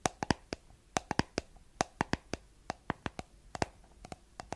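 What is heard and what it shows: Long nails tap the white plastic lid of a round, hollow, palm-sized cosmetic jar with a blue body. About 22 short, dry, bright clicks land in an irregular rhythm, each dying almost instantly with no ring, over a quiet background.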